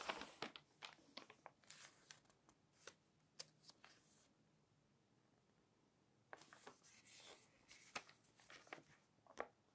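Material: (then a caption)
Coated paper. Long-nailed fingers pinch and flip the thin coated pages of an open glossy magazine. They make crisp, bright crinkles and papery snaps in quick clusters, with a quiet pause in the middle before another flurry of page handling. The sound is soft and close, with almost no low end.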